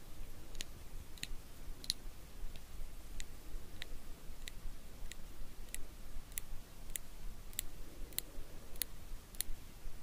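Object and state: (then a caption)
Metal tweezers clicking. Small solid steel eyebrow tweezers, held in the fingers, have their tips repeatedly pinched and clicked together. The result is a steady series of sharp, bright, very short metallic clicks, roughly every 0.6 seconds, over a quiet, low background rumble.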